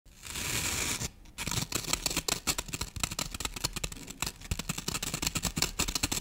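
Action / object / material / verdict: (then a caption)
scrape / floral foam brick scratched by fingernails / floral foam / none. Long painted nails scratch and dig into the top of a solid rectangular brick of green floral foam, about 20 cm long, lying on a wooden table. A steady bright rasp runs for about a second, breaks off briefly, then gives way to a dense stream of quick, crisp, crackling scrapes that keep going to the end.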